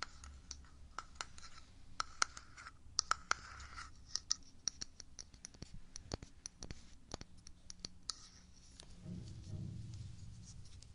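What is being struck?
Small glass jar with plastic lid.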